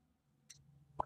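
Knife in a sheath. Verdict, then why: Tight. A knife held snugly in its custom sheath is shaken, giving two soft taps: a faint bright tick at half a second and a duller thump near one second. The sheath holds the knife tight, with no rattle.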